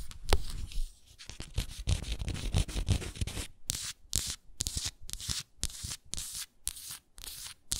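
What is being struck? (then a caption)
Frosted glass jar with wooden lid. Long nails scratch and tap the frosted glass bottom of a hexagonal moisturizer jar with a wooden lid, its base turned up. A dense stretch of low, rumbling scratches and a few sharp taps gives way to a steady run of short, bright, hissy scratching strokes separated by brief silences.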